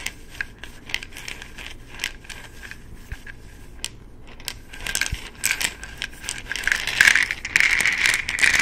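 A small amber plastic supplement bottle with an orange cap and a paper label, apparently holding pills, is held in both hands, tapped with the fingertips and shaken. Quick, light, irregular clicks and taps build into a louder, bright rattle toward the end.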